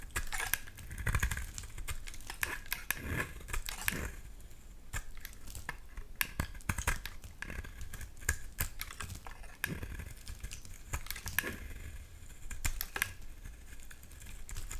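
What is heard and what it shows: A utility knife blade shaves the face of a solid dark green bar of soap held in the hand, making a steady run of short, crisp scraping and clicking strokes. Each cut is dry and bright with almost no ring, set over a soft low rumble, and the strokes come in dense bursts throughout.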